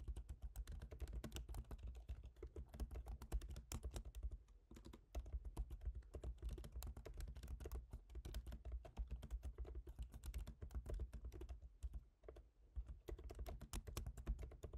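Fingertips tap out quick, steady typing on the plastic keys of a silver MacBook Pro's aluminium laptop keyboard, each press a short, crisp click. The taps run in continuous bursts with brief pauses near the 5- and 12-second marks, over a constant low hum.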